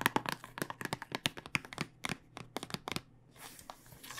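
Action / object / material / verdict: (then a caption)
tap / plastic tube filled with dice / plastic / none. A clear plastic tube filled with dice, held horizontally, is tapped with fingernails, giving a quick series of about two dozen sharp, bright clicks with a faint rattle. The taps thin out near the end into a soft, hissy rustle.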